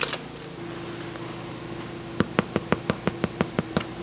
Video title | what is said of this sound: How to Make Rustic Italian Bread - Hearty Soups & Rustic Breads - Homemade Italian Bread Recipe | a nice Hollow tap when you tap the bottom